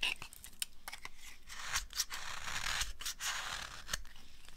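A thin, dry slab of amber soap held in the hand is scraped and cut with a utility knife blade. Sharp, bright clicks punctuate stretches of dry, crackling scraping noise as the blade shaves through the solid bar.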